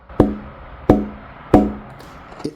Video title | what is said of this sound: How to carve guitar bracing, how to build an acoustic guitar EP 5 | it sounds a little dead right now